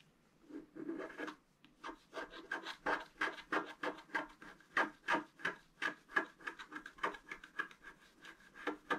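A flat, black-coated scratch-art card with a fountain design lies on a table and is scratched with a thin wooden stylus held in the fingers. About thirty short, dry scratch and rub strokes follow in a quick, uneven rhythm, each a brief raspy burst with a bright edge and no ring.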